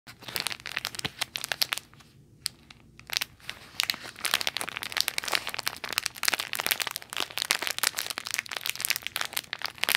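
A small clear plastic toy bag with a "nutty toys" label, hollow and full with a squishy toy inside, is crinkled and squeezed by fingertips with long nails. Dense, bright crinkling and sharp crackles run throughout, with a brief quieter pause a couple of seconds in before the crunchy rustling resumes.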